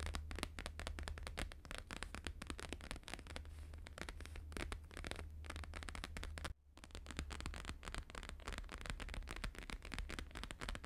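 Fast fingertip and nail tapping with both hands on a thin, flexible, flat square sheet of plastic-laminated holographic paper lying on a fur rug. Rapid, dense crackly taps run continuously over a low steady hum, broken by a brief silence partway through before the tapping resumes.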